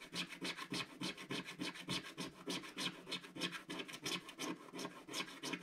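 A wooden stick scratches away the black coating of a flat, solid scratch-art card page in repeated short strokes, about three per second. Each stroke is a dry, bright, raspy scrape with a faint low tone underneath, and the strokes fall in a loosely steady rhythm.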